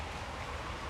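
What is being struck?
Nothing is struck.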